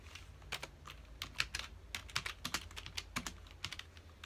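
Fingertips of both hands rapidly press the keys of a full-size black plastic computer keyboard resting on a dark desk. About twenty short, bright, dry plastic clicks follow in quick, uneven succession over a faint low hum.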